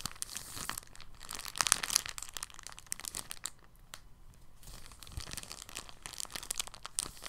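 An empty, thin clear polyethylene bag is crinkled in the hand, then laid flat on a table, folded and pressed with fingertips. The result is a dense, bright crackle of many quick crinkles and rustles, with a short quieter stretch midway and no ringing between them.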